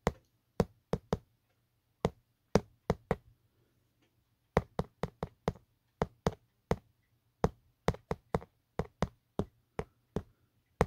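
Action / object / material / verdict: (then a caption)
tap / hard plastic phone case / plastic / none. A fingertip taps and knocks on the textured hard plastic back of an empty, hollow black Otterbox phone case. The 26 short, dry knocks come in loose clusters with brief pauses between them. Each knock is a hollow, low thud that dies away almost instantly, over a faint low hum.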